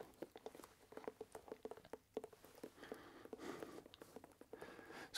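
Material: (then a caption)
Leather. A hollow, empty dark brown leather dress shoe is held in one hand and tapped with the fingertips of the other hand on its leather upper. The result is a quick, uneven run of soft, dull taps with a hollow knock around 440 Hz, each dying away almost at once, with some faint brighter rustles between them.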